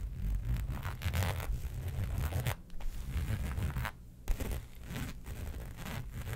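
Long pointed nails scratch the surface of a flat black embossed faux leather sheet resting on a fur rug, making a dense run of dry, rasping strokes with a heavy low rumble beneath. The scratching breaks off briefly just before the four-second mark, then a sharp scrape starts it again and it continues steadily to the end.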